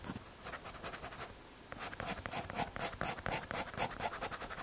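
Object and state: MDF board scratched with a pencil.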